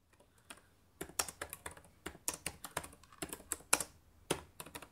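Fingertips with long painted nails type rapidly on the plastic chiclet keys of a black laptop resting on a table. After a quiet start, about twenty short, bright, clicky taps arrive in an uneven rhythm, each dying away almost at once.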